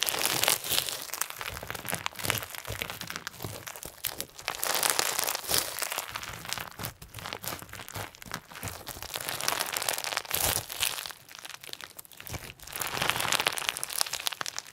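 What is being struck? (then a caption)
Clear slime mixed with plastic sequins. Clear slime filled with pink and white plastic sequins is pressed flat with the palms on a white table, then squeezed in both hands and kneaded with the fingertips. It gives dense, irregular, bright crinkling and crunching with sharp crackles and little low end, swelling and easing in waves through the clip.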